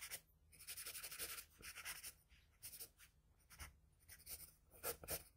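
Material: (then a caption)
Paper. The graphite tip of a wooden pencil scratches short strokes across flat white drawing paper on a desk, shading the ear area of a portrait. The result is a quiet, bright, papery scratching in uneven bursts of strokes separated by brief pauses, with the same sheet and pencil throughout.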